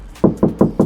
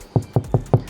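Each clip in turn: First: Four quick knuckle knocks with a boxy, mid-low thud, the sound of a bare car door panel. Second: Four low, dull knocks on a deadened car door, each dying almost at once with no metallic ring.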